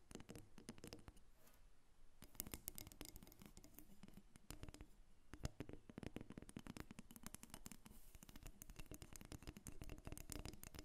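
A solid carved wooden dolphin figurine, about 25 cm long, resting on a glass table, is tapped and scratched with long nails. Quick, dense clicks and scraping strokes run continuously through the clip with brief pauses, each tap dying away almost instantly.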